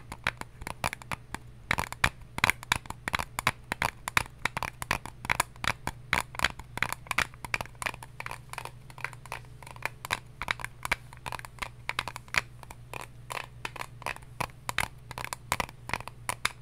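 An eyelash case is tapped repeatedly with quick, uneven taps. Each tap is a short, dry, bright click that dies almost instantly. A faint steady low hum runs underneath throughout.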